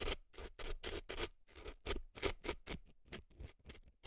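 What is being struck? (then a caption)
Floral foam inside a silicone ear, scraped with an earpick. An earpick scrapes and scratches dry floral foam packed into the canal of a right silicone elf ear. The result is a quick series of short, crisp, crunchy strokes with bright, airy texture and a soft low thump under each one. Each stroke cuts off quickly with almost no ring.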